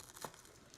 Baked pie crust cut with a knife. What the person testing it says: do you hear how crispy that is